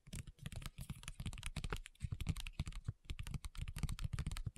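Long nails tap quickly on a flat, printed plastic and foil sheet mask pouch, making a rapid, continuous run of short, dry clicks. Each tap is a low, soft thud with a faint bright crinkle on top, and the sound dies away almost instantly.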